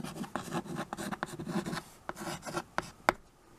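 A white chalk stick writes and scratches across a small tabletop chalkboard, a dark painted board in a wood-look frame held at the edge. Gritty, scraping strokes alternate with short, sharp chalk taps. The sharpest tap comes near the end before the sound fades to quiet.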